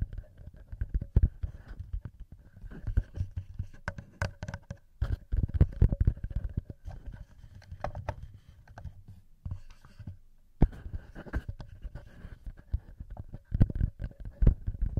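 Bare fingertips tap and scratch the heads of the small knurled metal XY microphone capsules on a TASCAM recorder body. Close, dense bursts of soft tapping and scratching carry heavy low-end thumps with faint faster ticks on top. A brief quiet gap falls just before the eleventh second.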